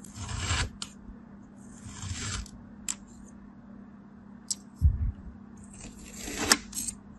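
A palm-sized, solid, packed block of beige kinetic sand, already sliced into ridged layers, is scraped and cut with a thin black blade. Soft, grainy rasping swells come in bursts with a few short, crisp ticks between them. A faint low hum sits underneath throughout.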